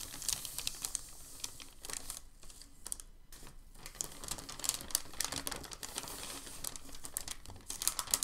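A hand rubs and flattens a large, thin, creased sheet of crumpled packing paper on a dark table with its palm and fingers. A dense, steady run of bright, dry crinkles and crackles lasts throughout, mostly in the high range, with sharp transients that stop almost instantly. Brief quieter dips come around two and three seconds in before the crinkling picks back up.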